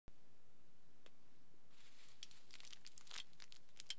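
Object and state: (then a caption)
Aluminium foil sheet being crinkled. Fingertips scratch and crinkle the surface of a large, thin, crumpled aluminium foil sheet lying flat. A faint hush builds into sharp, high crackles and crinkles that come in short clustered bursts through the second half of the clip, all at a quiet level.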